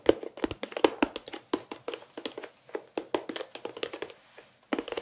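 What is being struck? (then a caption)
Plastic pencil case. A long, flat, hollow white pencil case with a bear print and a green edge, likely plastic, is held in both hands and tapped with the fingertips and nails. Rapid, uneven bursts of short, dry taps carry a hollow mid-range knock and a bright clicky edge, with a brief pause before a final flurry.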